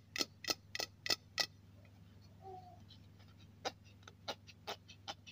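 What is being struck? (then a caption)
Aluminium aerosol can. Fingertips and nails tap and scratch the body of a hollow silver aluminium aerosol deodorant can with a black and white cap, lying on a cloth. Five quick, bright, clicky taps with almost no ring are followed by a soft scratching pause, then a looser run of sharper taps over a low steady hum.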